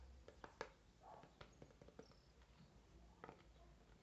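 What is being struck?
Hard clear plastic clamshell package.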